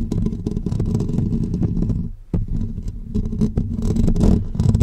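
Short natural fingernails of both hands scratch the hollow, dome-shaped woven metal wire grille of a pink condenser microphone. The result is a dense, boomy, low-heavy rumbling scrape with rapid gritty scratches. It briefly dips nearly silent just past two seconds before a sharp scratch restarts it, and it grows busier toward the end.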